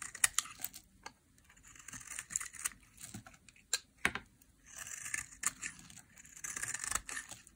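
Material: Soap.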